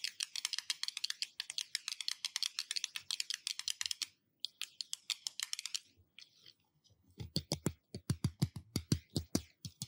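Fingertips or nails tap on a glass surface in a rapid run of short, crisp clicks, bright and high-pitched, with almost no ring. After a brief pause and a few scattered taps, the tapping returns with a fuller, deeper knock under each hit.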